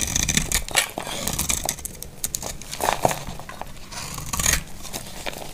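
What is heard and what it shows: A utility knife blade shaves a solid, dry, hand-sized bar of amber translucent glycerin-like soap into crumbly flakes. Bright, dense scraping and crackling strokes follow one another closely, with soft low thuds underneath and louder bursts near the start and end. Each stroke stops almost at once.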